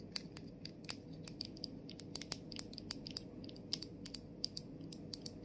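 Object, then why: Plastic mist bottle with plastic cap. Long nails tap the body and clear plastic cap of a plastic body mist bottle as it is tilted forward. The result is a quick, irregular run of short, bright clicks with a high ring that dies almost at once, over a low, steady hum.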